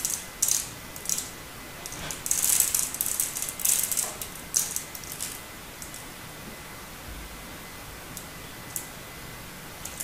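A metal utility-knife blade scrapes and carves flakes off a palm-sized, solid turquoise bar of hard soap embossed "Absolut", held in one hand. Bright, crisp, dry scratching comes in quick bursts, densest in the first half, then thinning to occasional short scrapes. A faint steady tone hums underneath throughout.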